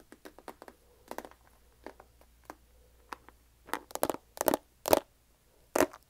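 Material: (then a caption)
Plastic. Fingernails tap the sides of a medium clear plastic tub with a lid and a paper label, filled with cat treats and held in both hands. About a dozen short, dry, clicky taps come at an irregular pace, each dying away almost instantly. The early taps are soft, and the later ones are louder and slightly fuller.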